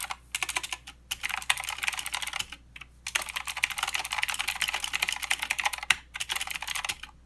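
Fast two-handed fingertip typing on a mechanical keyboard with plastic keycaps and blue switches, producing dense bursts of bright, sharp clicks. Short pauses break up the steady clatter.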